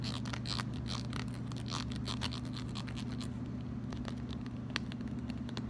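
Fingernails flick quickly across the teeth of a red plastic wide-tooth comb, giving a rapid, irregular run of bright, short clicks. A steady low hum sits underneath throughout, and the level stays even from start to finish.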